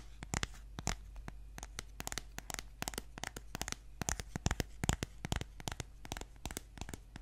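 Fingernails scratch and tap the cover of a solid green children's board book with thick laminated cardboard pages, held in both hands. Quick, irregular dry clicks and scratchy rasps follow one another at about two per second over a faint, steady low hum.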